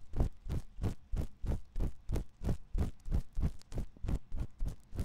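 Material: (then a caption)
Silicone. A thin metal ear pick scratches inside the canal of a white silicone ear on a 3Dio binaural microphone. It makes a steady run of separate rasping strokes, about three per second, each with a deep, muffled low-end thump. The strokes stop short with no ring.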